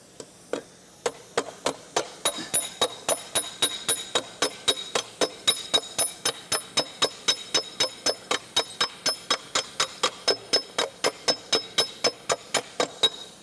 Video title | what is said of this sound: Forming Sheet Metal & Metal Forming Tools - Uses Explained By Gene Winfield at SEMA | when it's ringing it's actually moving the metal uh if it's rattling you know rattling you're not actually moving the metal